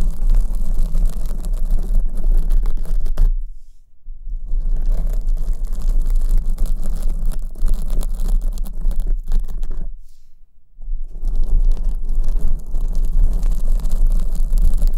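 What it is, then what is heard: Foam microphone windscreen being scratched. Long acrylic nails of both hands scratch a black foam windscreen on the right microphone. The result is a dense, continuous scratchy rumble concentrated in the low end, with rapid irregular rustling strokes. The sound drops away briefly twice before the scratching resumes.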